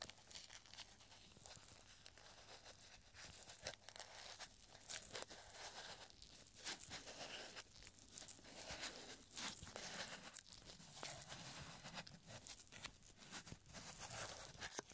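A small scroll of thin, yellowed paper with a hangman drawing on it is unrolled between purple nitrile-gloved fingertips. The quiet, bright crinkling and dry crackling come in a dense stream of short snaps. A faint low hum runs steadily underneath.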